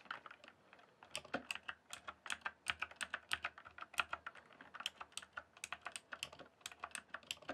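Fingertips type steadily on the keys of a full-size, backlit plastic RGB computer keyboard lit white and then green. Dozens of short, bright plastic clicks with almost no ring follow one another at a quick, even pace over a faint background.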